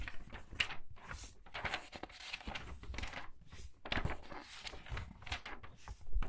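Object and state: Pages of a large hardcover book being flipped.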